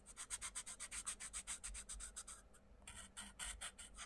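A wooden coloured pencil rubs rapid shading strokes across a thin paper page of a colouring book lying flat, while the other hand holds the page down. The result is a quick, steady run of soft, bright, scratchy rubbing strokes at about four per second. The strokes briefly pause near the middle, then resume.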